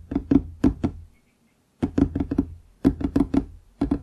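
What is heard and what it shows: Fingertips tap a large, solid wooden desktop near its front edge, on both sides of the microphone. There are 14 short, dry knocks in quick clusters separated by brief pauses. Each knock has a hollow, woody, mid-low tone that dies away almost instantly.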